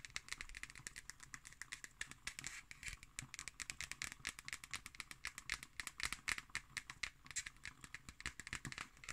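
Long nails tap and scratch on the cover and paper label of a black cardboard hardcover notebook. The result is a rapid, steady run of dry, bright clicks and scratchy strokes with almost no ring. The taps come quickly and unevenly throughout the clip, sometimes overlapping.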